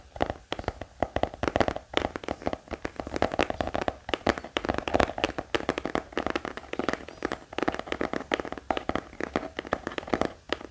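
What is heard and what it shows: A black hardcover notebook held upright is tapped rapidly with the fingertips of both hands. The result is a continuous flurry of short, dry, mid-pitched taps with almost no ring, keeping a steady pace for about eleven seconds.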